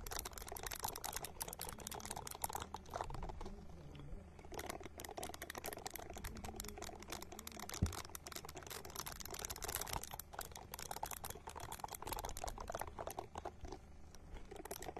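A small, hand-sized purple silicone ball held close to the microphone is scratched with long nails. This produces a steady, dense run of fast crackly, tapping scratches with a bright hiss over a low rumble, at a fairly even, quiet level throughout.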